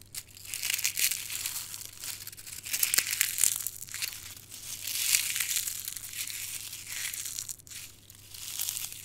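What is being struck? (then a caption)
Dried rose heads. A dried rose head with dark red, brittle petals is picked up and crushed with the fingertips in a closed fist, and the fragments fall onto a heap of crushed petals. A dense, bright, crinkling crackle swells and fades in waves, with sharp dry snaps poking through.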